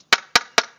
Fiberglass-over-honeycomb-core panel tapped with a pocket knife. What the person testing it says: you hear that that sharp clicking sound